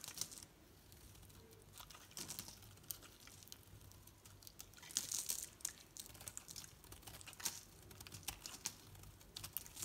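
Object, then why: Painted bar of soap shaved with a metal knife. A metal knife blade shaves and carves curls off a hand-sized solid bar of green soap with an orange painted coating, held in the palm. The sound is quiet, dry and crinkly: a steady run of bright, short scraping ticks and crisp rasps, with little low end and no ring after each cut.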